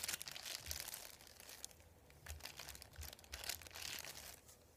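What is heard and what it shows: A thin, flat sheet of printed white paper lying on a wooden table is rubbed, tapped and crinkled by fingertips and nails. Dry, bright crinkling and scratchy rustles come in uneven bursts, with faint low taps beneath.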